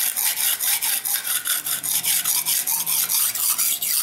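A steel knife blade is stroked repeatedly across a dark grey solid whetstone resting on the floor, under fingertip pressure to sharpen it. Each stroke is a bright, hissy rasping scrape with almost no low end, repeating in a steady back-and-forth rhythm of about two strokes per second.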